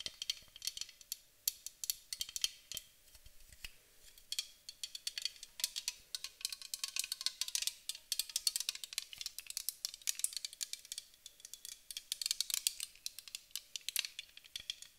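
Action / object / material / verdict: tap / aluminum aerosol spray can / aluminum / none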